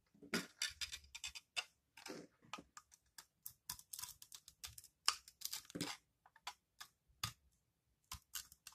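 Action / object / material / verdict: scrape / soap bar shaved with a blade / soap / none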